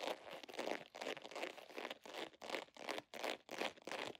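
A medium-size, soft, hollow holographic vinyl zipper pouch with an iridescent scale pattern is held in both hands while long nails scratch and squeeze it. The result is a run of quick, uneven bursts of bright, broadband crinkling with almost no low end, each burst cutting off sharply.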